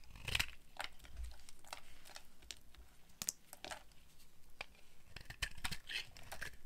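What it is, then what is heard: Dry soap bar being carved. A metal blade shaves thin curls from a solid orange oval bar of dry soap held in the hand. A series of quiet, dry, crisp scraping and crunching strokes sounds, each a short bright rasp with almost no ring, over a soft low rumble.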